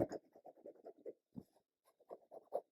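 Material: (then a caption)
Fabric. Fingers tap repeatedly on the barn section of a quilt, where the fabric was fused with adhesive and then densely stitched over. The taps are short, dry and muted, with no ring. This section sounds stiffer and more plasticky than the rest of the quilt, possibly because of its 1990s fabric.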